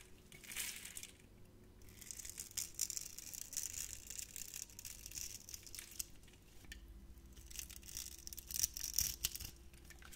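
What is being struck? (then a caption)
Bar of soap cut with a blade. A utility knife blade scrapes across and cuts crunchy cubes off a solid, hand-sized, grid-scored bar of orange translucent soap. Dense, bright crackling and crumbly crunching come in waves, with sharp little snaps above a faint steady low hum. The cuts are quiet and dry, with almost no ring.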